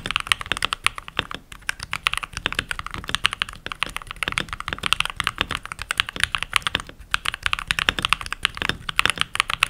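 Fingertips with short nails and rings type continuously on a full-size backlit mechanical keyboard with pink plastic keycaps. A rapid, steady stream of short, bright plastic clacks with almost no low end, each key press snapping off instantly.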